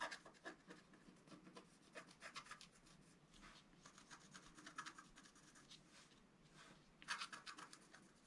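A pointed wooden stylus scratches the black coating off a flat scratch-art card, about A4, lying on a table. Quiet, dry, bright scratching strokes come in short bursts and pauses, with a louder cluster near the end.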